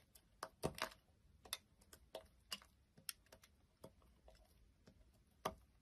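A solid beige bar of soap, already cut into chunks and resting on a wooden surface, is held by hand while a knife blade scrapes and cuts into it. Quiet, crisp clicks and short scraping ticks come at irregular intervals, each dying away almost instantly with bright, high edges over a faint low background.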